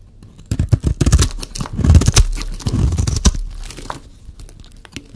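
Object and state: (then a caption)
Dry bar soap being scraped. A solid rectangular bar of dry green soap, held in one hand, is shaved and scraped with a metal utility-knife blade, and the shavings pile up below. A rapid run of crisp, crunchy scraping strokes with a tearing, crumbly texture is heard, with a heavy low thump under each stroke and brief bright edges, fading toward the end.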